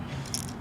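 A clear plastic fishing lure with little beads inside is shaken while held tight, giving a short, quiet rattle. A brief bright click near the middle stands out over a low hum. The beads make the rattle, which fish can hear.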